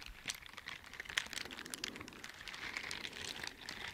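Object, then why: Silicone bristle dishwashing gloves. Teal silicone bristle dishwashing gloves are worn on both hands, and the bristled surfaces are rubbed and scratched with the gloved fingers close to the microphone. The result is a quiet, continuous, bright scratching and crinkling texture made of many rapid, tiny scrapes and ticks, with almost no low end.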